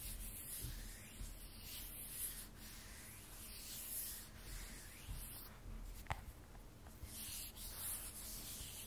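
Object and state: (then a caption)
Glass-backed smartphone rubbed and scratched. A handheld graphite iPhone 12 Pro with a matte frosted glass back and stainless steel frame is rubbed and scratched across the back by fingertips and long nails. A soft, continuous rubbing and scraping texture is heard, with recurring brighter scratchy swells and one small sharp click near the end. The sound stays quiet and close, with a low rumbling base.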